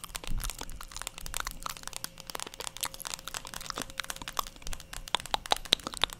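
Long pointed acrylic nails tap and scratch the hollow plastic back of a black plastic paddle hairbrush, held close to the microphone in both hands. A dense, rapid stream of bright, dry clicks and scratchy crackles fills the clip, each tap dying away instantly, with a few sharper, louder taps near the end. A faint steady tone runs underneath.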